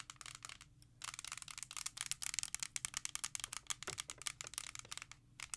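A small, hollow, clear hard plastic CD jewel case holding a Thriller disc is held in the hand and tapped and scratched with long acrylic nails. The result is a fast run of sharp, bright clicks and scratchy ticks, heavy in the high frequencies with almost no ring after each hit.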